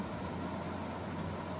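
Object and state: Nothing is struck.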